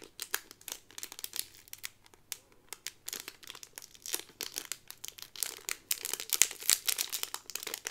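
A Peter Pan (Wendy) pin on a blue cardboard card inside a clear plastic bag is flipped over and the sleeve is crinkled with fingertips and long nails. Dense, bright, irregular crackles and crinkles come in quick bursts, with almost no low end and no ring, growing slightly louder toward the end.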